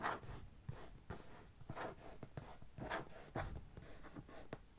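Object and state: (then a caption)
Cardboard shipping box. Long fingernails on one hand scratch across the top of a medium, closed, hollow brown corrugated cardboard box. The result is a series of dry, rasping scrapes with a low, hollow body, broken by short sharp clicks as the nails catch the ridged surface.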